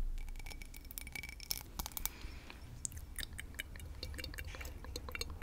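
A small, empty cut crystal whiskey tumbler with a star-cut pattern is held close to the mic and tapped and scratched with long nails. The result is a quick run of crisp, bright clicks and glassy ticks with very short ring, plus scratchy rasps over a low background rumble.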